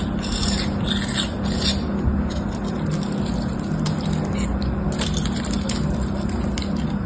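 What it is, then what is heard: Bar soap being shaved with a blade. A utility knife blade shaves and cuts a solid, palm-sized white bar soap with a gold patterned coating and a cream-colored interior. Continuous rasp-like scraping and cutting strokes with bright, crisp edges play over a steady low hum.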